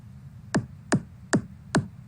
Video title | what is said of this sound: Cycle de conférences l Notre-Dame de Paris en chantiers. Archéologie du paysage sonore | vous allez vous rendre compte tout de suite la pierre elle est mauvaise